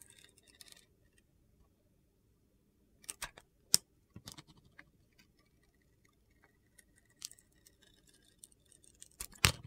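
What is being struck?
Bar of soap shaved with a blade.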